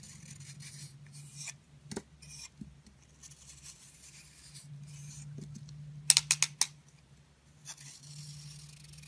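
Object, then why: Soap ball cut with a metal blade. A metal utility-knife blade slices and scrapes slabs off a solid, palm-sized, hand-held round ball of dry, crumbly pink-red soap, exposing its blue core. Soft, bright scraping and crumbling runs throughout over a faint low hum, broken by a quick run of five sharp, crisp cracks near the six-second mark as pieces snap away.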